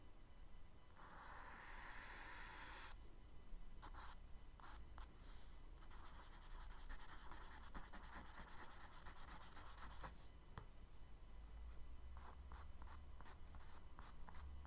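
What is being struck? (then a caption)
Charcoal stick on kraft paper sketchbook page. A charcoal stick, held close in the fingers, strokes and rubs along a brown kraft paper sketchbook page. Long, bright, hissy rubbing passes alternate with bursts of short, quick scratchy strokes over a quiet low hum.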